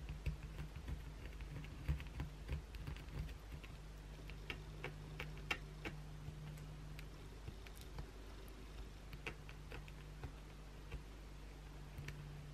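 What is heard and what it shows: Long pointed blue acrylic nails on both hands scratch the flat face of a solid white oval bar of soap, leaving visible grooves. Irregular sharp, bright scratchy clicks and ticks come in quick bursts, loudest in the first few seconds, over a steady low hum.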